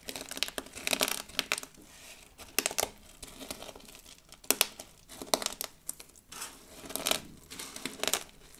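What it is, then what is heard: Pile of dried soap shards crunching. A heap of thin, brittle blue, pink and white dried soap shards on a dark table is pressed and rubbed by flat hands with long blue nails. Bursts of dry, bright crunching and crackling rise and fall as the shards break and shift, with quieter rustling between them.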